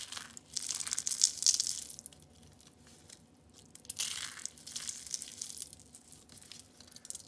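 Orange and lime dried soap curls, rolled thin sheets, are picked up and crushed with the fingers. Bright, dry crunching and crackling comes in two dense bursts, one loud at the start and another at about four seconds. Each burst fades into softer crinkling.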